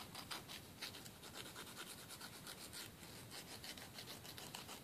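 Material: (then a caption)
Emery board. A thin, flat, solid emery board nail file is held between the fingers and rubbed across the edge of a fingernail in quick back-and-forth filing strokes. The result is a steady, quiet, bright rasping scratch, with each stroke showing as a high, breathy swell.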